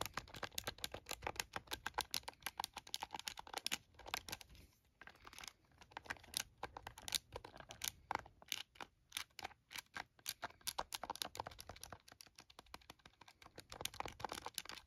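A handheld plastic TI-34 scientific calculator is held in the hands while its keys are pressed rapidly with the thumbs and fingertips. A dense stream of short, dry, bright clicks and taps plays with almost no ring, pausing briefly around the five-second mark before continuing at a quick, uneven pace.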